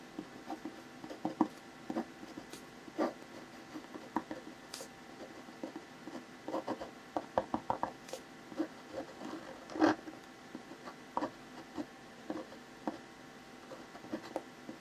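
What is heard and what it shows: A hand draws short, quick strokes of hair and an ear onto a face sketch on a thin white paper sheet lying flat, using the tip of a clear plastic ballpoint pen. The sound is a quiet series of brief, dry scratches and rubs, mostly mid-pitched, with a few slightly louder strokes and very little low end.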